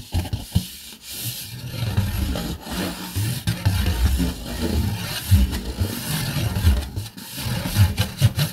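Fingernails scratch a red rigid plastic plate held upright, raking across its textured underside. The result is a steady, dry rasping rub with a low, dull body and brief louder swipes, with no ring after each stroke.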